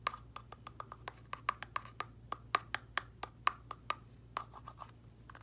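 A small cream L'Oreal Lumi Glotion plastic squeeze tube, hollow and filled with product, is held in the hand and tapped and scratched with a wooden orange stick, with long red nails nearby. About 24 short, dry clicks ring near 1.1 kHz with bright edges, falling in an uneven rhythm over a faint low hum. Each tap dies away almost instantly.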